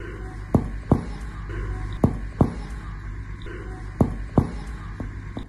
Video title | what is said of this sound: Liver Borders & Abdominal Palpation - Clinical Examination with Dr. Najam #oscepreparation #viral | So this is the dull sound.